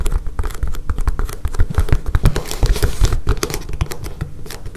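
Long painted fingernails tap and scratch quickly across a flexible blue gridded self-healing plastic cutting mat lying on a table. The result is a dense, uneven patter of dull, low, close-up taps with brief scratchy swipes, each one dying away almost instantly.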